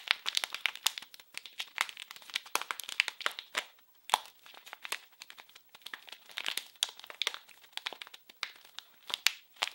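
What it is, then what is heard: Plastic film wrapper. A small blue printed plastic-film wrapped package is squeezed and crinkled in both hands. It makes a steady run of sharp, bright crinkles and crackles with almost no low end, and a brief lull near the middle.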